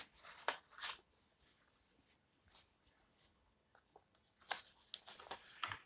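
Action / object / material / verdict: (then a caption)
scrape / old paper book pages / paper / none. Long nails scratch and tap the page edges of an open old book with yellowed paper pages and rub across the page surface. Quiet, bright, crisp scratches and dry taps come in short scattered bursts with near silence between them, and each sound dies away almost instantly.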